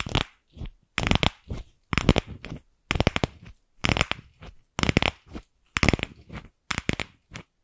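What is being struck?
Plastic ball tapped and scratched with long nails.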